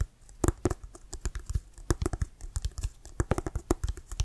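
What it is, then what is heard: Leather American football, fingernail tapping. Fingernails tap quickly on the laces and leather cover of a hollow, inflated brown Wilson American football held in both hands. The result is a rapid, uneven run of short, dull clicks with a low, hollow thump under each and almost no ring.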